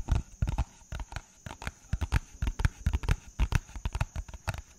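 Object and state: Paper envelope.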